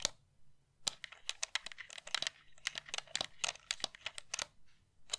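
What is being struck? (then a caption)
Plastic game controller. Long painted nails tap and click on a pink hand-held plastic game controller with a hollow shell and colored buttons, held close to the mic. A rapid, irregular series of sharp, bright clicks and taps with almost no ring follows, with quiet pauses between some bursts.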